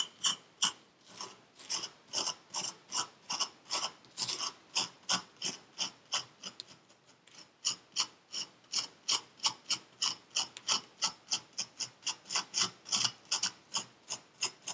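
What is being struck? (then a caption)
Packed kinetic sand in a paper cup. Packed purple kinetic sand in a paper cup is scraped over and over with a metal pick, giving about 46 short, crisp, bright grating strokes at roughly three per second. The strokes are dry with almost no low end and no ring, and the rhythm briefly thins and pauses around the middle before resuming.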